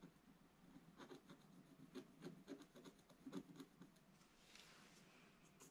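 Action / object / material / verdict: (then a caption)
scrape / scratch-art paper page scratched with a wooden stylus / coated paper / none. A pointed wooden stylus scratches a black-coated scratch-art paper page in a bound book lying flat, making repeated short, dry scratching strokes. The strokes come in quick, uneven bursts with a low-mid body and faint bright edges, and each one stops dead.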